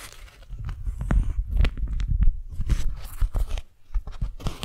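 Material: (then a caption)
Waxed cotton. A single thin, stiff, pink printed beeswax-coated cotton food wrap, about 30 cm across, is held in both hands while fingers and long nails crinkle, grip and rub it as it unfolds. The clip is a close, steady stream of dry crackles, crinkles and soft tearing-like rustles, with heavy low thumps from handling and no ringing tail.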